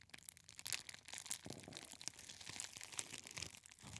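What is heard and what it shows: A clear plastic bubble wrap roll is held close to the ear and squeezed and scratched with the fingertips. It makes a quiet, steady stream of bright, high crinkles and crunches with short, sharp crackles and almost no low end.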